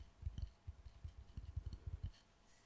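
A small mound of pink kinetic sand on a wooden board is pressed and squeezed with fingertips and palms. It makes a quiet run of soft, dull, low thuds with faint, bright grainy crackles, then fades to near silence for the last half second.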